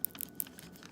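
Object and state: Dry California poppy seed pod.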